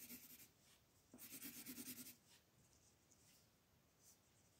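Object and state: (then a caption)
Colored pencil shading on paper. A brown colored pencil rubs across a thin white paper coloring book page lying flat, shading in the tree area. Two bursts of quick, scratchy back-and-forth strokes with a bright, papery hiss are heard, the second longer and louder. Softer, faint strokes follow.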